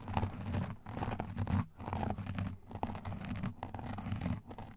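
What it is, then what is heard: Foam microphone windscreen being scratched. A black foam microphone windscreen is scratched up close by both hands using fingertips and nail rings in slow, massaging strokes. The result is a dense, muffled scratching and rustling, weighted heavily toward low frequencies with little brightness. Brief pauses fall between the bursts.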